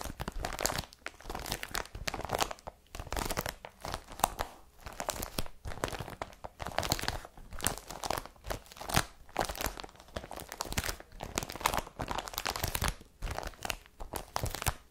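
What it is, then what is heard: Woven plastic carrier bag, empty, scratched. Long fingernails scratch a blue IKEA BRATTBY woven polypropylene carrier bag lying flat and empty. Repeated dry, crinkly scraping strokes rise and fall in quick bursts, with bright rasping texture over a soft low rumble.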